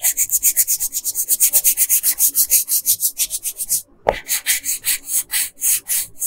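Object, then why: Wooden colored pencil on paper. A yellow wooden colored pencil is rubbed back and forth on a flat paper coloring page, making about 34 quick, scratchy strokes with a bright, hissy texture. Just before 4 seconds the strokes stop briefly, a short tap sounds, and the steady back-and-forth coloring resumes.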